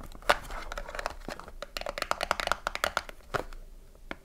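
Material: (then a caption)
Cardboard. Long nails tap and scratch the top and sides of a small cardboard soap box with the bar inside as it is turned in the hands. Quick, dry taps and papery scratching and crinkling come in dense bursts, with sharp clicks ringing a touch hollow in the midrange and brief bright edges. The taps die out almost instantly, leaving a soft scratchy hiss between them.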